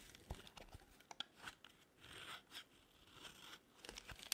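A metal blade cuts and scrapes flakes from the top edge of a solid pink bar of dry soap held in the palm. Short, dry crunching snaps alternate with brief rasping scrapes, all crisp and bright with almost no low end. The sounds are quiet and close, and each one stops dead without ringing.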